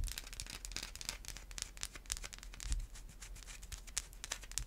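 A solid white bar of Irish Spring soap with an embossed logo is tapped and scratched with long white acrylic nails. Dense, rapid bright scratching and crisp clicks run throughout, over a low steady hum. There are many quick taps with almost no ring.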